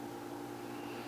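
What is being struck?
Nothing is struck.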